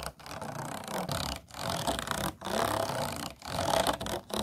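Fingernails scratch along the tall vertical ridges of an empty, hollow, disposable clear plastic food container. Four long, rapid, ratchety scraping passes are separated by brief pauses, each a dense, bright rasp with a faint hollow ring around 670 Hz.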